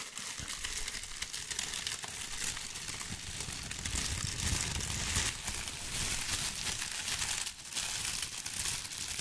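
A large, thin, white crinkly tissue paper sheet is held up in both hands and crumpled and shaken with the fingers close to the mic. It makes a steady, dense, bright crinkling and rustling for about nine seconds, with a low rumble underneath and a brief drop in loudness near the end.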